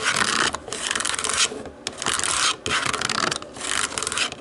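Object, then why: Plastic remote control with rubber buttons. Long acrylic nails tap and scratch across the rubber buttons of a small, hollow black plastic DVD remote control lying on a wooden table. Bright, dry rasping scratches come in several bursts separated by brief pauses, with light clicking taps mixed in and almost no low end.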